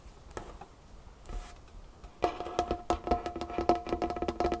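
Long fingernails of both hands tap fast on a large, solid dark-wood tabletop. After about two seconds of faint, scattered clicks, a dense run of sharp, bright taps starts, each carrying a short woody ring around 700 Hz that dies away almost at once.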